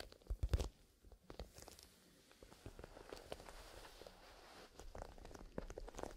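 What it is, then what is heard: Leather pencil case handled. A small black grained-leather zippered pencil case filled with colored pencils is gripped in both hands while fingertips squeeze and rub the leather, then the case is tilted upright. Soft, low creaks and crunches open with a louder burst in the first half-second, then settle into quiet, steady rubbing and scattered muffled crackles.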